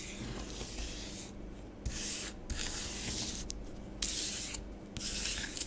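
Long nails scratch short strokes and fingertips write letters in orange bath bomb powder spread on a grey plastic tray. Bright, hissy rubbing and scratching comes in bursts separated by brief quieter gaps, over a low steady rumble.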